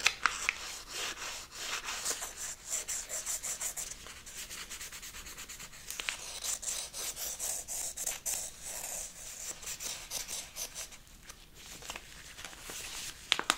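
A brown kraft paper pouch with a green label, seemingly filled, is scratched with a wooden stick while held in gloved hands. A dry, papery rubbing and scratching comes in quick, repeated strokes, bright and hissy with almost no low end. A few sharper, louder scrapes stand out near the start and end.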